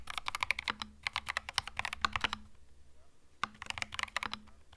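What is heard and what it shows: Both hands type with their fingertips on a compact cream mechanical keyboard with plastic keycaps, making quick runs of bright, sharp clacks with a low faint hum beneath them. The typing stops for about a second midway, then picks up again in another fast burst.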